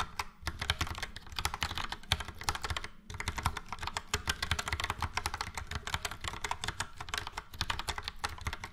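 Fingertips of both hands type steadily on a full-size Logitech POP Keys plastic mechanical keyboard with a yellow frame and round dark grey and light grey typewriter-style keycaps. The rapid, crisp clacks have a bright click over a low thock and die away almost instantly. The typing pauses briefly near the start and again around the three-second mark.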